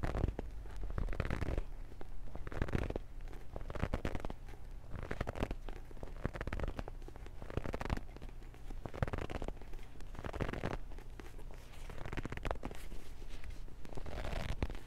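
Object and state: Paperback book, pages handled.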